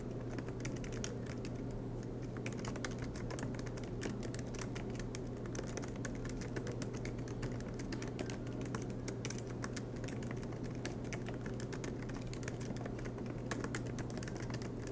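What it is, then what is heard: Laptop keyboard with plastic keys. Both hands type continuously with their fingertips on a silver MacBook Pro laptop keyboard, tapping low-profile black plastic keys set in an aluminium body, with the laptop resting on a desk mat. The result is a steady, dense stream of soft, quick key clicks over a constant low hum.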